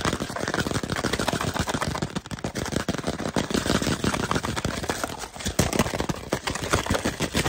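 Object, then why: Cardboard chip tube. Fast fingertip and nail tapping and scratching on the side of a tall, hollow, cylindrical Pringles can held upright, made of composite cardboard with a printed label showing nutrition facts. It makes a dense, continuous stream of quick, hollow, low-bodied taps over a scratchy rustle, each tap dying away almost at once.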